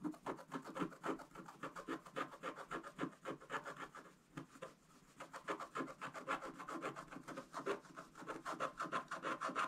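A pointed wooden stylus, held in the fingers, scratches continuously across a flat, thin scratch-art page with a black coating over gold foil lying on a table. Quick, uneven rasping strokes come about three to four per second, dry and scratchy in the mid-range with little low end. They pause briefly around the middle before resuming.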